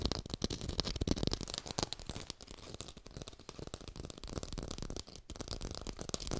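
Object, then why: Artificial tomato, plastic or foam. An artificial red tomato is tapped fast with long pink nails close up, giving a dense run of quick, dry clicky taps with a rattling, crinkly texture. The taps carry full low body and some high brightness, with almost no ring after each strike.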